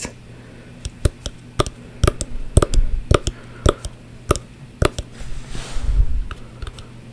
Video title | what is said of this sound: ASMR tapping and whisper ramble | this right here is higher pitch sound than this the long side